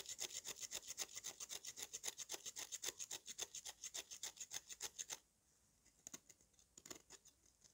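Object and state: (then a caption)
Dry mud cake being scraped. A metal knife blade repeatedly scrapes the dusty surface of a solid lump of dry red mud held in one hand, shaving off powder. Quick, fairly regular bright rasping strokes run for about five seconds, then drop to a few softer, scattered scrapes.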